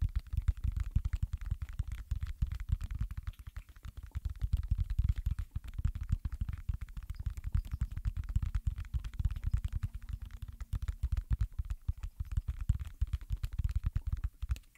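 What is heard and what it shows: Fingertips press, pop and tap the hollow domes of a round, thin, flexible silicone space pop-it fidget toy. The result is a rapid, irregular stream of short, soft, muffled pops and thumps, heavy in low tones with little brightness, each dying away almost instantly.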